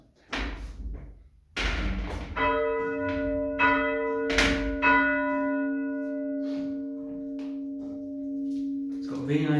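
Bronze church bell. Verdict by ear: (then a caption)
Sound. A bronze church bell in a tower is rung, with a few dull knocks before a clear strike. Its tone rings out with a long, sustained hum, and it is struck again while still sounding. The bell sounds all right and has a really nice hum to it.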